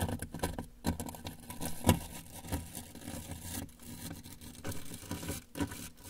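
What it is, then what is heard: Cardboard box. A brush handle is held against the lower right side of a large, closed, hollow corrugated cardboard shipping box and worked in repeated scratching and tapping strokes. The result is a dull, low, boomy patter of scrapes and knocks with very little ring. One tap stands out louder near the two-second mark.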